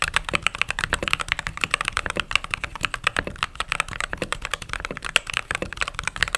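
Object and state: Mechanical keyboard with plastic keycaps.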